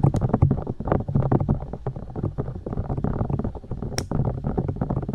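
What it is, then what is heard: Silicone microphone ears tapped and poked. Long dark nails tap and poke the silicone ears of a binaural microphone, which sit on white plastic discs. A dense run of soft, dull, low thumps and muffled rubbery pokes fills the clip, with a brief bright click near the four-second mark.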